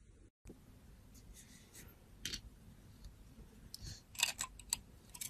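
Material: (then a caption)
Soap. A metal blade scrapes a solid gold glitter-coated soap bar held in a hand with long teal nails. Short, bright, crisp scraping strokes crackle over a low, steady background hum, growing sharper and more frequent toward the end. There is a brief moment of silence near the start.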